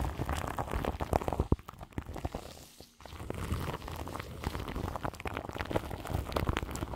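Long nails scratch and tap across crinkly plastic film wrapped around the grille of a large microphone. The result is a dense, low, rumbling crackle of quick crinkles, with a few sharper taps. It briefly fades quieter around the third second, then resumes steadily.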